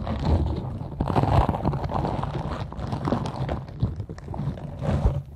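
A green silicone scrubber with soft nubs rests apparently over the microphone while long nails scratch its bristles. The result is a dense, continuous run of low, muffled scratching and thumping with bursts of rustle, mostly low in tone.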